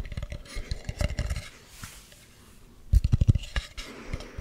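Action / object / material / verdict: tap / carved wooden mask / wood / none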